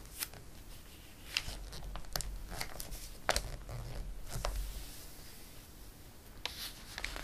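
A flat palm rubs and smooths the pages of an open glossy paper catalog, then a page is turned. Soft, continuous papery rustling and swishing is broken by crisp, bright crackles and sharp ticks, over a low, quiet rumble.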